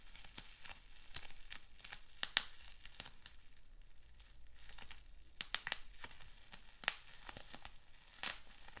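Fingertips and nails scratch and squeeze a bundled sheet of clear plastic bubble wrap with small bubbles. The result is a steady, quiet crinkling rustle broken by frequent sharp, bright crackles and snaps, with a few louder pops standing out.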